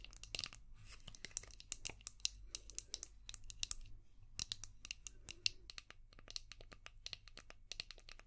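Long painted nails tap and scratch a palm-sized, translucent orange hard plastic brush shaped like a seashell, with a ridged back. A rapid stream of crisp, bright clicks and scratchy ticks dies away instantly, over a faint low hum.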